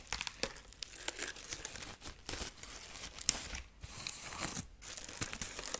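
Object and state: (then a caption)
Dried corn husk figurine being scratched. Long nails scratch the dry husk arm and side of a dried corn husk rabbit figurine. Continuous crisp, papery crinkling and tearing-like scratches, mostly bright and high, with many small sharp peaks that run together rather than standing apart.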